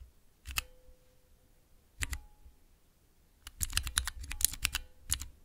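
Long nails and fingertips press and tap three tall, translucent plastic keycaps on a clear plastic mechanical keypad with Cherry MX switches. Two separate clicks are followed by a quick run of sharp, bright clacks, with a faint thin ring after some presses and a soft thud beneath each press.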